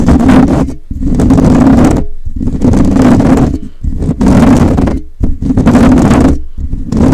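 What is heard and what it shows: Fingertips and short nails of both hands scratch and rub a rounded, hollow metal wire-mesh microphone grille. The result is dense, loud, bursting scraping and crackling with a strong low rumble and a hum-like tone around 227 Hz. The bursts come in roughly four long waves separated by brief near-silent gaps.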